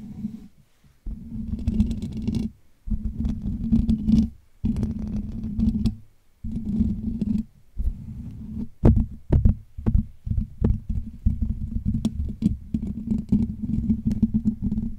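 Fingertips scratch and tap the hollow metal wire-mesh dome grille of a Blue Yeti USB microphone. Dense, low, rumbling scratch bursts, each a second or two long with brief silences between, carry a steady buzzing band around 200 Hz. Quick, sharp taps break through in the second half.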